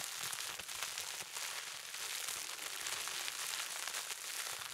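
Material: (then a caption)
Plastic. A small wad of clear plastic bubble wrap with hollow air bubbles is held in both hands and squeezed and crinkled with the fingertips, popping the bubbles. The result is a steady, dense, bright crackle of small pops and crinkling with almost no low end.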